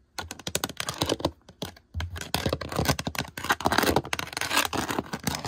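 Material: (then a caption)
Plastic. Long decorated nails tap and scratch the woven texture of a white rattan-style drawer front, most likely plastic, on a hollow drawer unit. Fast clicky taps and scraping scratches come in dense bursts with brief pauses, giving a dry, crackling sound that fades quickly.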